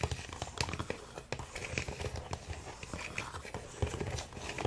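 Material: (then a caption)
Plastic. Fingertips and nails tap quickly on the blue and green plastic pieces of a large, hollow, multicolored plastic crocodile puzzle toy resting on a wooden table. The taps come in a fast, typing-like rhythm, with hollow low thumps under bright clicks that die away almost instantly.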